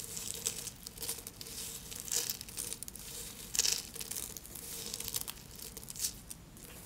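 A pile of thin pink soap flakes resting on paper is broken with the fingertips, then crumbled and rubbed into fine pieces with both hands. The result is a steady run of dry, bright crinkling and crackling with a few louder crunchy bursts, over a faint low hum.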